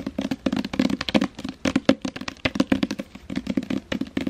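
Long painted fingernails rapidly tap and scratch the front cover of a hand-sized hardcover novel, The Seven Husbands of Evelyn Hugo, in a glossy paper dust jacket, held up in both hands. The result is a quick, uneven run of short, dry, hollow taps with a low-mid body and almost no ring, interspersed with soft papery scratches.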